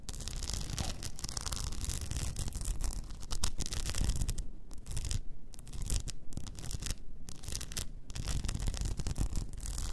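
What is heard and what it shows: An upright blue rhinestone-covered tumbler with a frosted lid is scratched with long nails, making a dense, continuous raspy scratching. Quick gritty bursts run steadily over a low rumbling base, with a thin, bright crackle on top.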